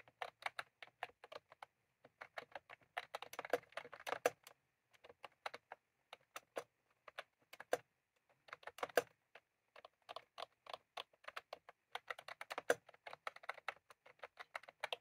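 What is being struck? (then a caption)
Plastic computer keyboard with round keycaps. Fingertips of both hands type continuously on a full-size plastic computer keyboard with round cream typewriter-style keycaps, resting on a desk. Quick, dry clicks with a midrange tone and almost no low end come in dense bursts. Short pauses break up the runs of keystrokes.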